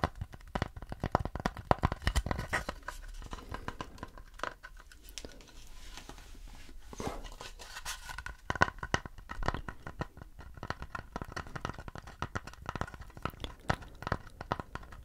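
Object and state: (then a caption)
Wooden plate. Fingernails scratch and tap a round wooden plate held up by its side, making dense, dry crackling and clicking with tearing-like scrapes over low thuds. Quick tap transients are scattered throughout, with a slightly quieter, smoother scratching stretch around the middle.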